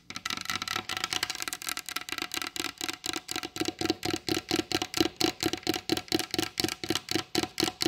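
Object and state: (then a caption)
Varnished wooden table. Long blue acrylic nail tips tap rapidly on the glossy varnished top of a large solid wooden table. The result is a fast, uneven series of short, dry knocks with a woody tone around 320 Hz and a bright clicky edge. Each tap dies away almost instantly, and the taps grow more distinct and pronounced toward the end.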